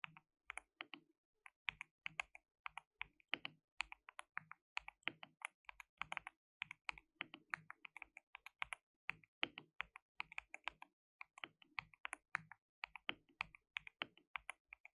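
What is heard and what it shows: Fingertips type rapidly on a white, RGB-backlit, compact mechanical keyboard with plastic keycaps and a hollow case. A quiet, steady stream of sharp, bright key clicks and clacks, each dying away almost instantly, runs through the whole clip with brief pauses between bursts.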